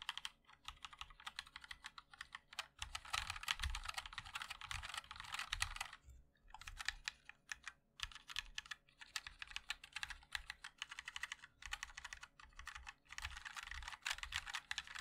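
A 60% mechanical keyboard with a black aluminium case, white and black ABS keycaps and linear switches is typed on continuously with the fingertips of both hands. Rapid, bright clicking taps come in dense bursts with short pauses and very quick decay, over a faint low hum.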